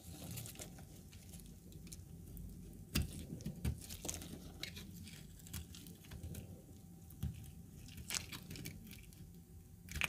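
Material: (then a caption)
Soap. A pale, dry, cracked chunk of solid laundry soap, held in a black-gloved hand, is scraped and shaved with a metal utility knife blade so that flakes peel off. Quiet, dry scraping and crinkly shaving runs throughout, with sharp, bright clicks and snaps as pieces break away.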